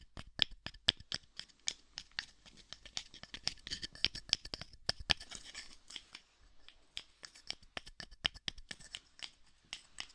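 A small pair of light, solid wooden kitchen tongs is held in the hands beside a dummy head, and its arms are snapped and clacked together by hand, knocking wood on wood. About 37 sharp, dry clicks sound in quick, uneven bursts, each dying away almost at once. The clicks are bright, with a peak near 3.3 kHz and very little low end.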